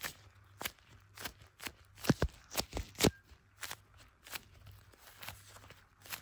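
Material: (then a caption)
Plastic. Black leather-gloved fingertips tap and drag across the back of a blue iPhone in a clear plastic case with a MagSafe ring, held in both hands as it records. Short, sticky taps come at an uneven pace, each a brief dry click with a bright edge and a soft low thump. Faint rubbing fills the gaps between them.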